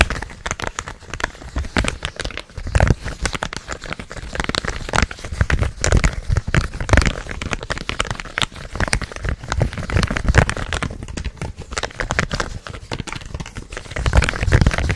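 A purple hollow plastic gamepad is held in both hands close to the mic while its buttons and shell are tapped and clicked with the fingertips. The result is a dense, steady stream of quick, dry clicks and crinkly taps with a soft, low, hollow thump beneath them, continuing throughout the clip.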